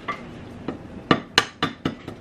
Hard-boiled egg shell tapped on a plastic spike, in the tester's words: It's been cracked. I've heard it and I can see it.